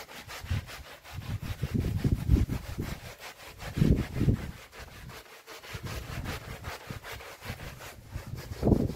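A small red traditional wool pile rug covered in soapy foam is rubbed and scrubbed by hands in orange rubber gloves. The result is a continuous wet, low, rhythmic rubbing and swishing with soft surges, mostly deep and muffled with little high content.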